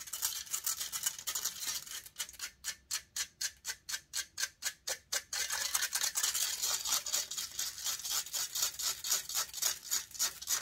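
Long acrylic nails rapidly scratch the hollow metal mesh grille of a large silver USB condenser microphone (Blue Yeti style) while the other hand holds the mic body. The result is a fast, rhythmic series of bright, hissy scraping strokes, about four per second, with almost no low end. Around the middle the strokes become crisp and clearly separated before blurring back into a dense, continuous scratching.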